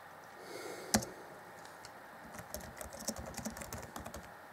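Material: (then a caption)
Plastic. Fingertips of both hands type on the black plastic chiclet keys of an Acer Chromebook C20 (2014) laptop keyboard set in a grey deck. One sharp, loud key click comes early, followed by a quiet pause and then a run of softer, quick clicky taps with a dull low thud under bright tops.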